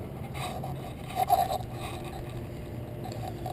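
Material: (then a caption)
Metal. A PCV valve removed from a 2001 Toyota Avalon engine is shaken, giving a brief, faint rattle from inside that peaks about a second in over a low background hum. The small rattle means the valve is probably still working, and it is to be cleaned so it rattles more.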